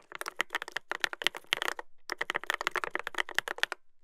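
Fingertips type continuously on a Dolphin 2021 mechanical keyboard with a brass plate and plastic keycaps. About 26 sharp, clacky keystrokes with a bright, crisp edge sound in quick runs, with a brief pause just before the two-second mark. Each keystroke stops dead with no ring.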